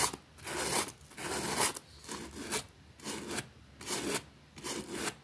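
A pink plastic bristle brush scrubs a small, flat, damp green fabric rug with a rabbit print lying on a concrete floor. Seven bright, raspy brushing strokes come in an uneven back-and-forth rhythm, each a short hiss of bristles on wet fabric with quieter gaps between.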